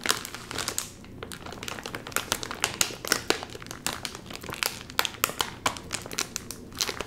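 A full, sealed red and white metallized plastic chip bag rests on a lap while fingertips pinch and pull at its top seal. The bag gives off a dense, bright crinkling with many sharp, crackly snaps over a quiet, steady rustle for the whole clip.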